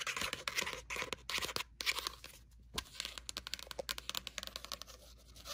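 Long matte nails tap and scratch quickly on the matte card cover of a small red notebook, a solid stack of paper lying on a blanket. The sound is a dry, bright rush of rapid clicks and papery scratches with almost no low end, with brief pauses before the tapping turns into quick, distinct taps.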